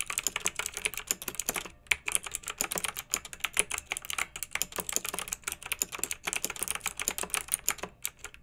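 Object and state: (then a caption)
Plastic mechanical keyboard with round keycaps. Fingertips with long nails type steadily on a pink backlit plastic mechanical keyboard with round, typewriter-style plastic keycaps. The result is a rapid, continuous stream of bright, crisp clicks with very little low end, each tap dying away almost instantly. The typing pauses briefly near the two-second mark and again around six seconds.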